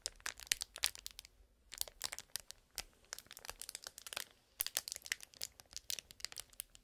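A small Marble Cube cardboard toy box in clear plastic wrap is held in the hands while fingers crinkle and scratch the film. The result is a dense run of sharp, bright crackles and rustles, with very little low end and no ringing.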